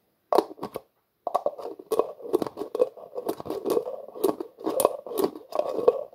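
A translucent plastic jar with a black plastic screw lid is held in both hands while the lid is twisted repeatedly. After a few quick clicks and a short pause, a steady run of scratchy, ratcheting plastic clicks and scrapes follows, centered in the midrange with bright crackly edges.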